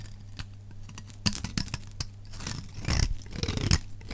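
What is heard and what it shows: A solid, dry green bar of soap held in the hand is scraped along its edge with a metal utility knife blade. Sharp, crisp scraping clicks and crunchy rasps rise over a steady low hum, with denser, louder scraping toward the end.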